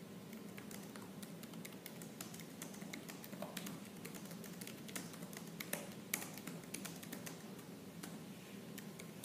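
Fingertips with purple-painted nails type fast and forcefully on the black plastic keys of a silver laptop keyboard. A dense stream of bright, sharp clicks, with a few louder taps standing out, plays over a steady low hum.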